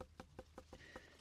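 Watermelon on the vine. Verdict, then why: Unripe. A watermelon growing in a polytunnel is tapped by hand several times to check whether it is ready to pick, giving short, dull knocks with a faint mid-range ring. It sounds only a bit hollow, not the fully hollow sound of a ripe fruit, so it is judged not quite ripe. Its tendril is still green rather than brown, so it is left unpicked and is not cut open.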